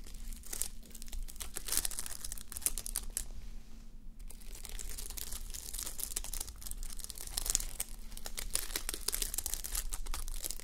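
A flip-sequin sleep mask, plastic sequins on fabric, rests on a mannequin head while long nails scratch and rub across the sequins, flipping them. The result is a dense, continuous run of bright crinkling and crackling ticks over a steady low hum, with a brief quieter dip just before the four-second mark.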